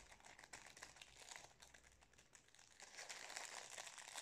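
Fingers crinkle and rub the metallised plastic wrapper of a wrapped Napolitain cake, making a dense stream of bright, crackling rustles. The crinkling is fairly quiet and irregular, then grows louder and busier in the last second or so.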